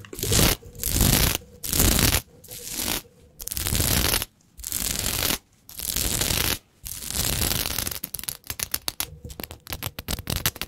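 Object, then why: Plastic sequin fabric scraped with fingernails. Long pointed nails scratch and scrape across a large sheet of shiny green and black plastic sequin fabric, making a bright, rough rasping sound. The first eight seconds are long, sustained scraping strokes separated by brief pauses. After that the sound breaks into a fast run of short, choppy scratches.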